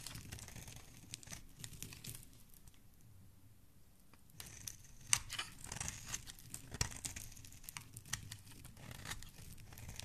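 A dark metal blade shaves and scrapes the edge of a solid pink soap bar held in the hand, scattering flakes. Soft, crisp scraping and crumbly crackling start the clip, fade to near quiet for a couple of seconds, then return denser with sharp, bright snaps and crunches.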